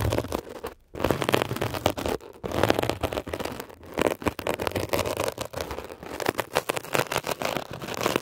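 A metal ear pick scratches rapidly across a blue mesh-covered textured foam scrub sponge. The result is a dense, crackly, rasping texture, with short pauses near the start and in the middle. Bursts of scratching continue steadily to the end.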